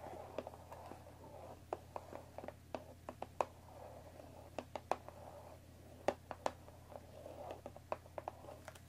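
Long nails tap and lightly scratch the top of a hollow cardboard tea box wrapped in plastic film, resting on a wooden table. Quiet, crisp, dry taps with almost no ring are scattered among soft, papery scratching. A steady low hum sits underneath throughout.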